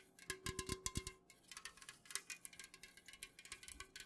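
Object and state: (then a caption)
Full aluminium drink can, fingernail tapping. Long nails rapidly tap the printed side of an unopened, full Jumex Guava Nectar aluminum can held tilted. About 25 quick, bright clicking taps with a faint metallic ring near 1 kHz die away almost at once. The first few taps carry deeper, duller thumps.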